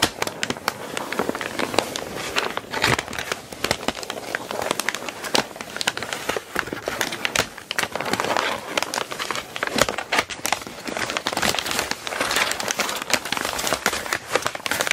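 Long nails on both hands tap and scratch a crumpled sheet of brown kraft packing paper spread flat. The result is a steady, dense stream of dry, crackly taps and crinkly scratches. It is bright with almost no low end, and each sharp click dies away almost instantly.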